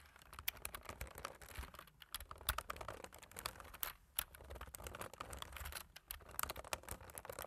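Black plastic computer keyboard keys are typed on quickly by the fingertips of both hands, producing a dense, uneven stream of short, sharp clicks and taps. The clicks are bright with a low thud underneath, each dying away almost instantly, with a few brief pauses between bursts.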